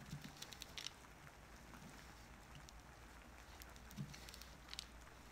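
A small wooden-handled carving knife carves and scrapes a solid, hand-sized, orange-tan oval bar of soap held on paper over a cutting mat, leaving soap shavings on the paper. Quiet, soft scraping is broken by short, crisp, bright ticks in clusters near the start and again toward the end, over a steady low hum.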